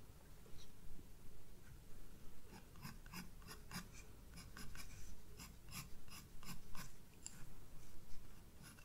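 A sharp graphite pencil draws small detail strokes at the top of flowers on a white paper page of a spiral-bound sketchbook. Short, quiet, scratchy strokes with a bright edge come in irregular bursts over a steady low rumble.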